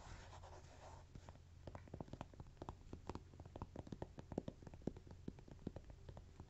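Fingertips and short nails of both hands scratch and rub the top surface and edges of a small stack of thin, solid, toast-shaped textured cork coasters lying on soft fabric. The sound is quiet, dry scratching made of rapid, short ticks and scrapes over a steady low hum, beginning with a softer rub before the sharper scratches take over.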